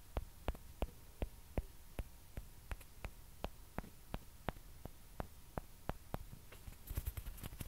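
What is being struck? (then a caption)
Plastic ping pong ball. Long dark-painted nails tap and scratch small hollow white celluloid or plastic ping pong balls held close to the mic. About 20 short, sharp, dry clicks land at a steady pace over a low hum. A brief burst of brighter scratching comes near the end.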